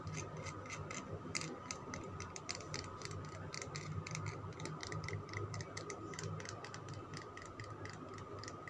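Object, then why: Soap bar. Fingernails scratch and tap on a solid green Lux soap bar whose surface is flecked from scratching. Rapid, sharp, clicky taps and scratchy strokes with bright high transients repeat throughout, over a steady low hum.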